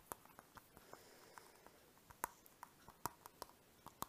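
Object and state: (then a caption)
Plastic pouch tapped with fingernails. Fingertips and nails tap and rub the surface of a small, flat, translucent orange-pink plastic zip pouch, hollow and mostly empty, held up in the hands. Twelve quiet, irregular taps sound as short, dry clicks with a crisp crackle reaching into the highs and a faint tone near 960 Hz. Soft rubbing rustles fill the gaps between them.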